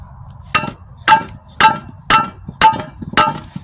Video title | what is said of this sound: Twin turbo #Big block #mopar #temu budget build #1000hp | that's solid that's welded up on both sides so that should be sealed up